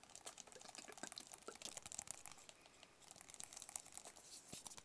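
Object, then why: Small cardboard box. A small, hollow white cardboard product box is tapped with fingertips and short nails. The result is a quiet, steady stream of quick, dry, crinkly taps with a bright, papery edge, little low end and no ring after each tap.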